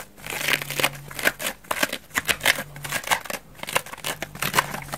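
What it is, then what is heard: Foam bath sponge scratched with nails. Long nails and fingertips scratch a hand-sized, dry, elliptical foam bath sponge, soft and porous white wavy foam with an orange layer. The result is a quick run of dry, bright scratching and crackling bursts with almost no ring, over a faint low hum.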